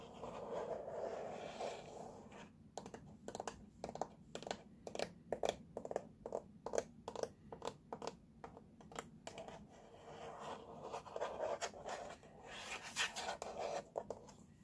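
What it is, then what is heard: Plastic baby walker base. Fingertips and nails tap and scratch the hollow, molded blue plastic side of a baby walker base that carries a warning sticker. A soft, hollow scratching opens the clip, followed by a run of quick, dry taps with a low-mid knock around 580 Hz. The scratching returns near the end, mixed with a few more taps, all at a quiet level.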